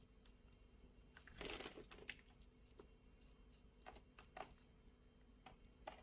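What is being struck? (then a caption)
Bar of soap shaved with a blade. A utility blade shaves flakes off the scored surface of a translucent orange bar of soap. Quiet, crisp scraping and bright crackling ticks sound over a low background hiss, with a louder, longer crumbly scrape near the start and several sharper cracks after it.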